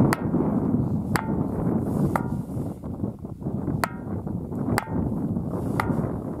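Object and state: Ringing boulder struck on its west face.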